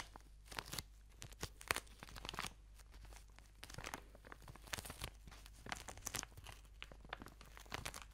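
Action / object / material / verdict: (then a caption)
scrape / plastic-wrapped product tube / plastic film / none. A plastic-wrapped product tube is crinkled, squeezed and scratched with nails close to the microphone. Quiet, bright crackles, crinkles and short scratchy bursts come in quick irregular clusters over a low steady hum.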